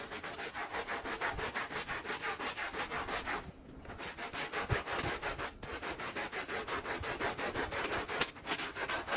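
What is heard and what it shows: A handheld blue bristle brush scrubs a small, wet, foamy Persian-style pile rug in rapid back-and-forth strokes. The result is a steady, bright, rhythmic scratching and swishing, with a brief quieter pause partway through before the scrubbing resumes.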